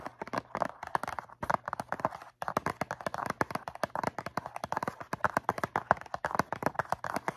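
Long nails rapidly tap and scratch a medium-size blue cardboard Q-tips box filled with cotton swabs. Dozens of quick, dry taps with almost no ring sit in the mid-range, interspersed with light scratching. There is a brief pause just past the two-second mark.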